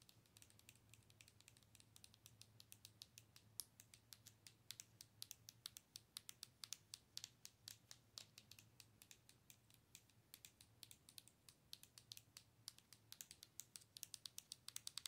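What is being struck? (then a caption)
Plastic owl-shaped night light. Long nails tap and scratch the sides and head of a hollow, light-up plastic owl night light. Dozens of quiet, sharp, bright clicks and scrapes come in quick, uneven bursts, each dying away almost instantly, over a faint, steady low hum.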